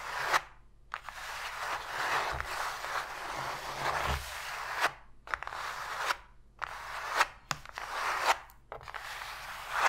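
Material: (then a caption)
Cardboard. Long pointed fingernails quickly scratch and tap the flat bottom of an empty, open, hollow white cardboard box tray. Bursts of dry, papery scratching fill the mid and bright range, broken by short gaps and sharp clicky taps that die away almost instantly.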